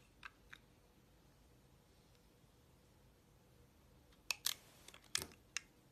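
A utility-knife blade slices into a solid magenta bar of soap with a yellow and white striped core. Two faint, crisp cuts come first, then after a quiet pause a louder cluster of sharp, bright crunching snaps. The sound is dry and short, with almost no low end.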